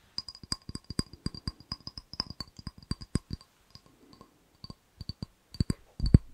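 A small, empty, hollow clear ribbed glass jar with a gold lid is tapped and scratched with fingernails. The result is a quick run of short, dry clicks with very little ring, each carrying a faint glassy tone near 1 kHz and a brighter high one. It ends in a louder, denser scratching burst.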